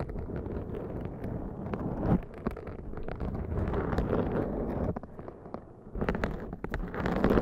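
Long dark nails scratch and fingertips rub a black foam windscreen on a Zoom microphone. The result is a dense, muffled, low-heavy rustling and crackling with frequent short scratchy bursts and almost no high end.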